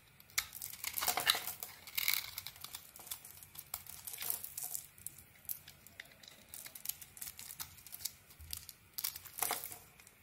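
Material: Soap.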